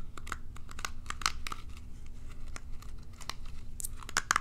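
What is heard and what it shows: Long nails flick and scratch the bristles of a small plastic pin hairbrush held in hand. The result is a quick run of sharp, dry, bright clicks and crackly scratches with no ring, over a low, steady rumble.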